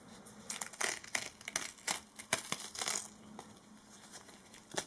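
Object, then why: Strip of duct tape handled with gloved fingers. Fingertips in disposable latex gloves rub and press down a short, flat strip of black duct tape held between the gloved hands, with a tape roll sitting idle nearby. The result is a series of quick, bright, crackly sticky bursts, with faint glove rubbing in between and almost no low end.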